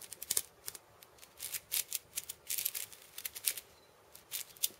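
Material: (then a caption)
Steel, wood. A hand-held wooden cabasa, a wooden cylinder wrapped in steel ball chains, has its beads tapped and scratched with fingertips and nails. The result is a quiet, irregular string of short, bright metallic rattles and scrapes that die away almost instantly, with almost nothing in the low end.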